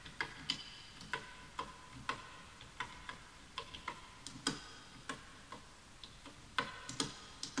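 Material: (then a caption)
Bamboo wood. Fingertips type on the letter keys and right-side keys of a full-size bamboo wood computer keyboard with wooden keys, while the mouse goes untouched. About 22 separate, irregularly spaced keystrokes make short, dry, bright clicks with a tone near 1.5 kHz that fade almost instantly. Between the clicks there is only a faint, steady background.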